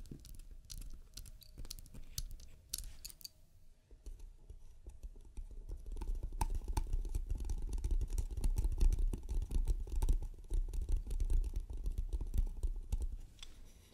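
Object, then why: Small wooden box lid. Long red nails tap and scratch across the lid of a small, closed, hollow hexagonal striped painted wooden box with a metal latch and a single button resting on top. Dense, rapid, uneven clicks and scratches with a low, hollow knock stay fairly quiet for the first few seconds, then grow louder and busier from about six seconds on.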